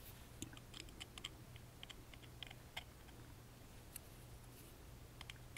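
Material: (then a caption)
Wood. A small, hollow, carved wooden music box is held in the hand while a wooden toothpick rapidly taps and scratches its lattice-engraved side panel. The result is a quiet, irregular run of dry, bright clicks with very short ring, peaking around 3.1 kHz, over a steady low hum.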